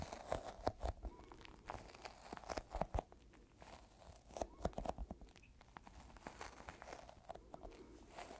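A small, solid, yellow sticky squishy rubber toy ball is squished and tapped with fingertips. It makes irregular tacky crackles and soft pops, with brief dull taps and faint low thumps. Each sound dies away almost instantly.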